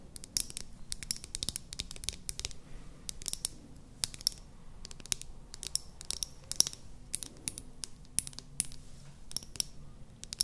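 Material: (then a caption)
Plastic. A small, light-green, hollow plastic mascara tube with its cap on is held up to the microphones and tapped and scratched with long painted nails. The result is a quiet, irregular stream of crisp, bright clicks and scratchy taps that stop dead, over a soft low background hum.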